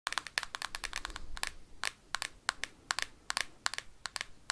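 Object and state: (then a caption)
Hard plastic game console tapped with metal clips. Metal paperclips worn on the fingertips rapidly tap and scratch the hard plastic shell of a handheld Nintendo Switch game console. About 24 sharp, bright clicks with very short decay sit over a faint scratching rustle between them.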